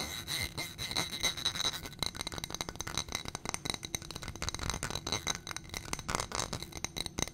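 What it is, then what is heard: Glass footed dish. Fingernails tap rapidly on a small ribbed glass footed dish on a gold stem holding white contents. The result is a dense stream of sharp, bright clicks and clinks with almost no ring, over a faint high tone.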